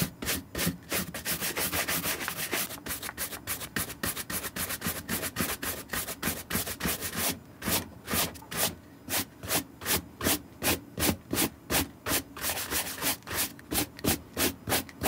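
A green suede Nike SB sneaker with a gum rubber sole is held in one hand and dry-brushed with a wooden-backed horsehair brush in repeated strokes. For the first half, the bristles make a dense, fast, nearly continuous scratchy rubbing. After that, the strokes separate into distinct, rhythmic swishes with short quiet gaps, each one a bright, hissy scrape.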